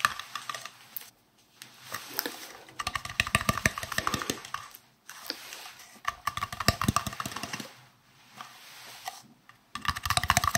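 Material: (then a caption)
Plastic. A hollow, green translucent, round plastic case is tapped with fingertips and nails close up, giving rapid bursts of light, clicky taps. The taps carry a hollow resonance around 1 kHz and bright edges, broken by short pauses.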